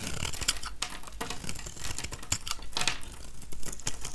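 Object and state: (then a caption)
Dry soap bar being scraped. A metal utility-knife blade scrapes shavings off a small, solid, oval, dry yellow soap bar held in one hand. Dense, crackly scraping and crisp crumbly bursts repeat throughout, with bright upper detail over a low, steady base.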